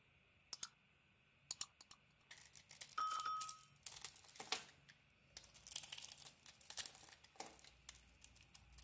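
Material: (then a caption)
Soap. A solid light-blue "Arzt Seife" bar of soap, held in the hand, is scraped and carved with a utility knife blade, peeling off thin curls. A few sharp isolated clicks give way to bursts of dry, bright scraping and crinkly shaving. A brief faint tone rings out partway through, all at a quiet level.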